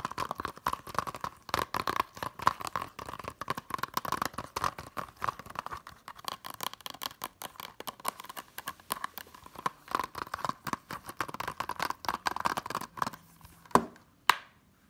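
A closed, hollow blue plastic Hunger Games Blu-ray case, held in the hand, is tapped rapidly on its back and edge with long nails. The result is a dense, continuous stream of light, crisp clicks with a hollow plastic tone centered around 1 kHz and almost no low end. It ends with two louder, sharper taps.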